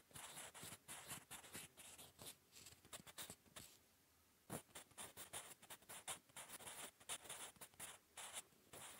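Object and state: Pencil writing on lined paper.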